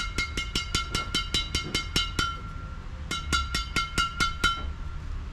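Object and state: Tightly strung badminton racket, ringing strings.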